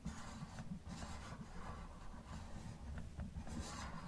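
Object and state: Plastic toy car scratched.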